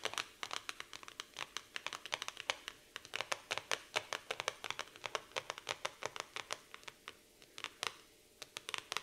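Long pink acrylic nails tap and scratch the glossy black floral laminated cardboard cover of a large hardcover notebook lying flat on a wooden table. About fifty quick, dry, bright clicks come in an uneven run, with faint scratchy rustling between them. The taps are crisp with no low-end thump and stop almost instantly with no ring.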